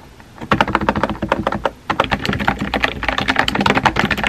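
Fingertips with painted nails type rapidly on a compact pink plastic mechanical keyboard with a hollow body and round white-and-pink typewriter-style keycaps, resting on a desk. After a brief quiet start, a steady stream of about twenty crisp, clacky key taps follows, each a short, bright click that dies away almost instantly, with a slight pause partway through.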